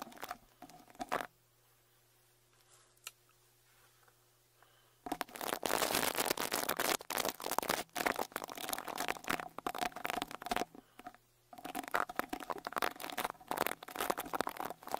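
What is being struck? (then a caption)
Metal mesh microphone grille. A small white-bristle rat-tail brush with a wooden handle is brushed against the right metal mesh grille of a Tascam Portacapture X8's X-Y microphone capsules. A brief burst of scratchy brushing gives way to a near-silent pause with a faint low hum, then dense, crackling bristle strokes run from about five seconds on. Those strokes stop briefly around eleven seconds and resume, producing a close, bright, crinkly scraping texture.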